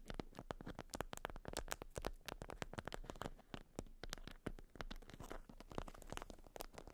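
Long almond-shaped nails scratch a watermelon-print, beeswax-coated cotton food wrap bundled around a round item resting on fur. The result is a quiet, rapid stream of dozens of sharp, crackly scratches and crinkles, with a soft low rumble beneath them.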